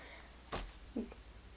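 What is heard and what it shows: A heavy paperback book of nearly 500 pages is set down, showing how big and heavy it is. It makes a short, dull thump with little ring in a quiet room, followed moments later by a second lower, softer thud.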